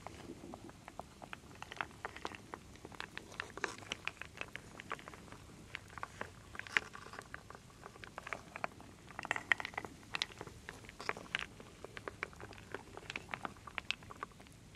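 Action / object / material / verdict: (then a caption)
scrape / wooden beads and acorn pieces in a wooden bowl / wood / none. A wooden spoon stirs a full wooden bowl of small solid wooden beads, acorns and leaves, with long nails also involved. It makes a steady stream of dense, quiet clicks and clatters with a bright, dry tick to each contact and almost no ring. Occasional sharper knocks stand out from the soft, continuous rattle.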